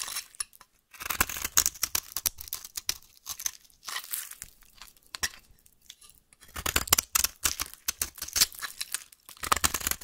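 A solid pink bar of soap held in the hand has flaky curls scraped off its end by a metal blade. The scraping comes in bursts of bright, dry, crackling strokes with short pauses between them. There is no ringing after each stroke.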